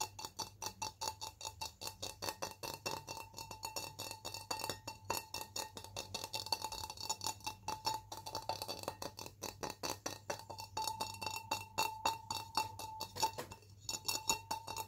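An empty, hollow blue glass tumbler held in one hand is tapped quickly and steadily with fingertips and nails. Each tap gives a bright, short clink with a faint glassy ring around 900 Hz.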